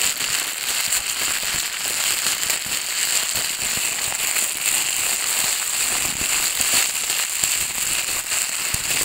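A thin, empty, transparent plastic bag is held up, pressed on a table and crumpled with both hands, whose long dark nails rub against it. It makes a steady, dense crinkling and crackling that is bright and high, with almost no low end.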